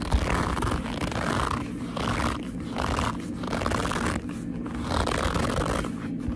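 Long nails and fingertips grip and squeeze the top edge and front of a hollow black leather handbag. The result is a steady, low-heavy rubbing and squeaking of leather that swells and eases in slow waves as the grip tightens and relaxes, with no clean separate hits.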